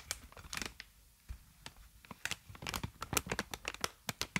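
Clear plastic inflated air-column packaging, made of hollow air-filled tubes, is held upright and squeezed and crinkled with the fingers. Sharp, bright crackles and crinkling snaps come in quick, irregular bursts with brief quiet gaps between them, and each snap stops almost instantly.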